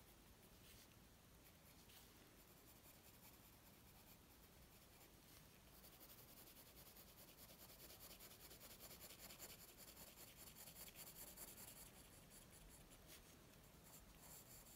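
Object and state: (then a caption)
Pencil shading on paper. A graphite pencil rubs and scratches shading strokes across a flat white drawing paper sheet resting on a wooden table. The quiet, continuous bright scratchy rasp has a loosely regular back-and-forth stroke rhythm and grows slightly louder and denser in the second half.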